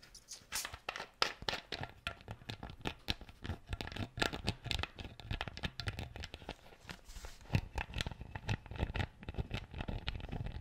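Fingertips and nails scratch and twist a plastic screw cap on an empty clear PET bottle. The result is a dense run of quick, dry scratches and crinkly clicks with bright edges and soft low thumps, each dying away almost at once.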